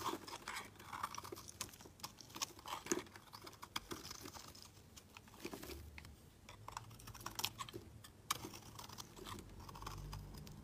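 A metal blade scrapes thin shavings off the edge of a solid, pale green, palm-sized bar of soap with an embossed logo, held in the hand. Quiet, rapid, crisp scratching strokes follow one another closely, each a short dry burst with bright, high texture and almost no ring.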